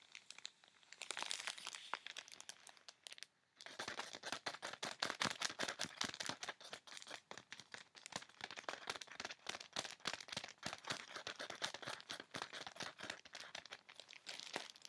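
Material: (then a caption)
Plastic film. Fingertips and medium-length nails rapidly tap and scratch a folded dark knit garment sealed in a clear plastic poly bag with a paper barcode label, with some fiddling at the label. The plastic gives off dense, bright crinkling clicks and scratches with no low-end thump, since the garment inside is soft rather than hollow. The sound pauses briefly near the start, then continues as a steady stream.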